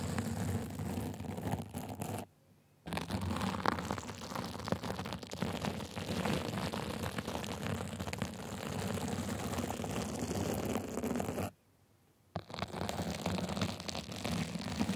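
A gold sequin and glitter fabric cover on a microphone is scratched repeatedly with small white plastic tools. The result is a dense, continuous rustling and crackling scrape, heavy in the low end. Two brief silent gaps break the sound, near 2 seconds and 12 seconds.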